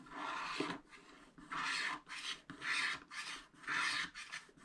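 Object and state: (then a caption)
Scratch-art paper being scraped. A wooden stylus scratches the black coating of a thin wax-coated paper sheet on a spiral-bound scratch-art pad, while fingertips hold the bottom edge. Dry, raspy scraping strokes come in bursts with short pauses between them, each one bright and hissy with most of its energy in the mid and high range.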